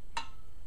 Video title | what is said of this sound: The Yard Sale Show, May 21, 2011 | it should ring you hear that it sounds duddy that that's a giveaway that it's got a crack in it